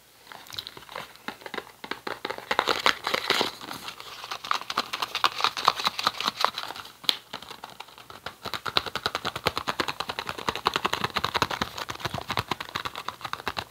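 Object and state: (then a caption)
Cardboard tea box. A small, hollow, green printed cardboard Erva-Doce tea box is held in both hands and tapped and scratched with fingertips and nails. Rapid, dry taps and crinkly scratches sound bright, with almost no low end, each stopping instantly without ring. A brief lull near the 8-second mark gives way to a denser, steadier run of tapping to the end.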